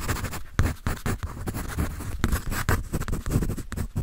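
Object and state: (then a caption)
Pencil scribbling on paper sketch pad. A graphite pencil scribbles across the sheet of a paper sketch pad held upright. The result is a steady run of dry, rough scratching strokes with a dull low body, each quick stroke fading almost at once.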